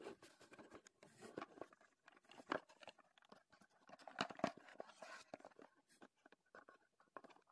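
A small, closed, printed Heddon cardboard lure box is held in both hands while fingertips tap and pat it and turn it over. Quiet, dry papery taps and soft crunchy pats come in a quick, uneven run, with a few sharper knocks standing out. The sound centers in the midrange, with little low end and brief, dead-sounding decays.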